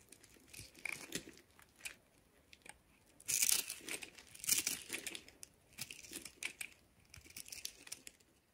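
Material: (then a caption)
Soap. A utility knife blade cuts and scrapes a solid, hand-sized light blue bar of soap held in one hand, shaving off small cubes and slabs. Short, crisp crunching and scraping bursts come in irregular succession, bright and dry with almost no low end. The loudest, longest scrapes come a little past the three-second mark and again around four and a half seconds.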